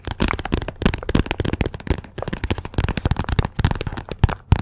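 Long nails rapidly tap and scratch the glossy cover of a "Persepolis" paperback book that sits partly behind the microphone. The result is a fast, dense stream of short, dry taps with a deep, close thump and a crackly, papery scratch between them, with no lingering ring.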